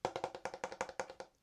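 The underside of a 7-ply wooden skateboard deck is tapped in a quick, even run of about fourteen dry, hollow knocks with a woody tone around 535 Hz and almost no ring. It sounds like good-quality, real hard wood.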